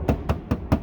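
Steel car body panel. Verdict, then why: Undamped. Four knocks on an untreated steel sheet-metal body panel of a 2009-2014 Acura TSX, which has no sound deadening, unlike the hood with its butyl deadening. Each knock is a short, low thud with a brief tinny rattle that dies away quickly, revealing the panel's undamped, tinny resonance.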